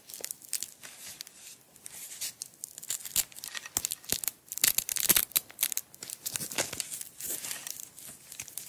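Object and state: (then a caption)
Velcro strap being peeled. Long white-tipped acrylic nails peel the end of a small, tightly wound roll of yellow nylon hook-and-loop strap, held in the fingers, off the roll and press it back again and again. Each pull gives a bright, crackly ripping burst with almost no low end, and the bursts come in quick, uneven runs that swell and fade throughout.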